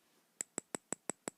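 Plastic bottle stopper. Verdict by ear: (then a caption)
Sturdy. Seven sharp taps on the sturdy plastic stopper of a Chanel Huile de Jasmin oil bottle, evenly spaced. Each is a short, dry click with a bright high ping that almost sounds like metal or glass.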